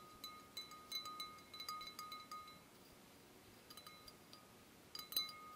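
A wine glass is gently tapped in a series of soft, quick taps, each giving a bright, chime-like ring with clear tones around 1.2 kHz that fade quickly. The tapping pauses and grows quieter midway, then picks up again with a couple of stronger taps near the end, sounding much like a small musical instrument.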